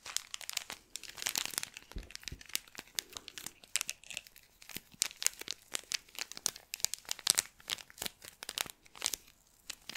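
A small clear plastic bag filled with pink kinetic sand is held in both hands while fingertips squeeze and rub it, crinkling the plastic. The result is a dense, steady stream of quick, bright crinkles and soft crunches, with almost no low end.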